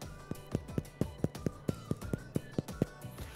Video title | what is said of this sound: Poolish Mayalı Fransız Baget Ekmeği Tarifi - Eno Bayram ile Mutfak Serüveni | We're going to tap the bottom with our finger like this, and this is what we want to hear. When you hear a crust sound like this, your bread is ready.